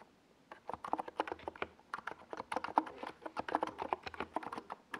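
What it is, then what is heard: Mechanical keyboard with tall plastic keycaps being typed on. Fingertips of both hands type on a compact 68-key NiZ Plum Atom 68 mechanical keyboard with a white plastic case and tall purple and yellow Domikey Gas Attack SA plastic keycaps, resting on a desk pad. After a brief quiet start, a steady run of quick, dry, clacky keystrokes follows, each tap short and centered in the midrange with almost no ring.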